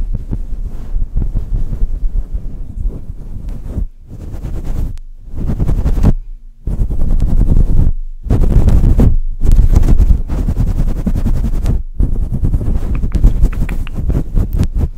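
Fingertips and long nails of both hands rub and scratch a soft, fluffy, hollow grey and white faux-fur windscreen on a silver microphone. This produces a dense, deep, muffled rumbling and scratching, almost all in the low range, broken by a few brief silent gaps.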